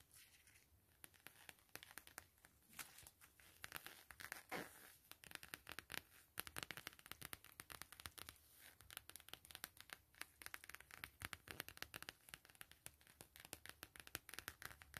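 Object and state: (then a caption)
Coated canvas wallet. Long glittery acrylic nails tap and scratch across a flat, thin, empty beige map-print coated canvas zip wallet from Prima Classe lying on silver bubble foil. Dense, rapid, crisp clicks and papery scratching crackle with a bright, dry texture and almost no ring. The quieter opening gives way to busier, louder bursts of tapping.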